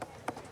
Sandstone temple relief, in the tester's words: Ça sonne creux, en fait. On sent très bien qu'il y a la couche supérieure du grès qui s'est soulevée.